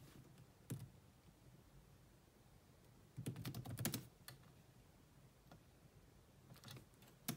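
Slow typing with long nails and fingertips on the black plastic chiclet keyboard of a grey laptop. Soft, bright clicks come in a sparse, uneven rhythm: an isolated tap early on, a brief quick flurry of keystrokes in the middle, then a few scattered taps toward the end. Each click is short and dull over a quiet background.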